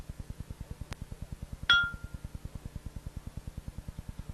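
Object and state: Sound grinding wheel (ring test).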